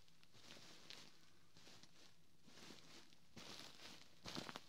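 Fingertips and short nails of one hand scratch and tap the ribbed, quilted fabric cover of a large, soft white pillow, away from the mic. Quiet, bright, rustling scratches are broken by faint taps, and a louder burst of scratching and tapping comes near the end.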